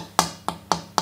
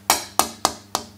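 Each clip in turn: First: less dense cypress tonewood board. Second: dense rosewood board.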